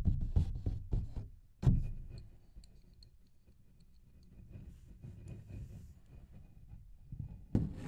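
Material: Paper.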